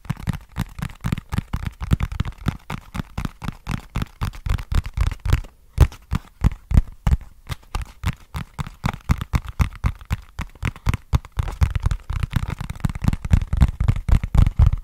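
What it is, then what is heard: Cardboard box. Fingertips scratch and tap a small, flat, hollow brown cardboard box with a barcode label, held at an angle. The result is a fast, uneven stream of dull, low, hollow thumps with a dry, brief decay, plus faint scratchy texture. There is a short pause a little over a third of the way through.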